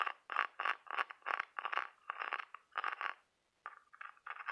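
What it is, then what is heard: Ribbed cockle seashell. Fingernails scratch and tap along the ribs of a ribbed, brown-patterned cockle half-shell held in the hand. The result is a quick series of short, dry, raspy scraping bursts with a bright edge and a steady midrange tone around 1 kHz. The bursts pause briefly near the end, then resume.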